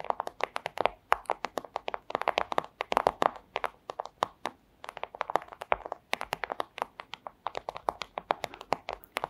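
A flat, thin clear plastic sleeve is tapped rapidly with long acrylic nails, producing a dense stream of short, dry clicking taps. The taps come in uneven bursts with brief pauses, crisp and bright, centered in the midrange with no low rumble.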